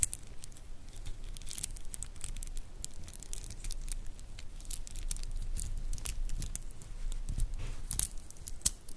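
A stretch bracelet of small, solid, iridescent grey mother-of-pearl shell cube beads is held in both hands and flexed and rubbed with fingertips and long nails, so the beads click against each other. The result is a quiet, steady stream of irregular, bright, very short clicks and light crinkly rattling over a soft low rumble.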